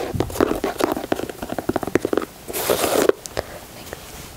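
Fingertips with short nails tap and scratch along the side panels, grey speckled plastic or rubber overlays and white laces of a hollow, empty white high-top leather sneaker in the Air Jordan 4 style with mesh panels, held in the hands. A quick run of dry, hollow-sounding taps with a mid-range knock gives way to a brief bright, hissing scratch. A few softer, scattered taps then fade out.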